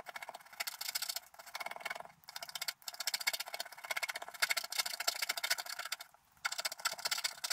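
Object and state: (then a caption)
Scratch-art card being scratched. A wooden stylus continuously scratches the black coating near the top of a flat, wax-coated scratch-art card while the other hand holds the card down. The result is a bright, dry, rapid rasping made of dense, quick strokes with almost no low end. Brief pauses break up the sound before the scratching resumes.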